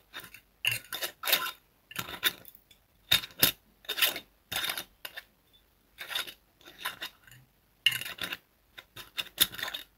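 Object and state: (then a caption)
Glass liquor bottle. A clear glass liquor bottle with a red label and red cap, apparently empty or nearly empty, is held on its side and tapped and rubbed near the neck and cap with fingertips and fingernails. The sound is a string of quick, bright clicks and light scratchy rubs in uneven bursts with short pauses between them. Each tap carries a faint high glassy ring that dies away almost at once.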